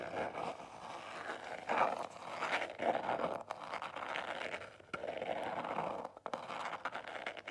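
A small black square Marlù cardboard jewelry box is held and tapped and scratched with long nails. The result is a steady dry rasping scrape centered in the midrange, with a few louder tap-like bursts and brief pauses between strokes.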